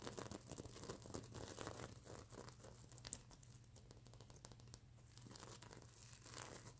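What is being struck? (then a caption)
Sequin-covered plush pillow. Long nails scratch the plastic sequins of a sequin-covered stuffed unicorn pillow held in the hands. The result is a dense, uneven run of crisp, crinkling scratches with bright high-frequency grit. A steady low hum sits underneath throughout.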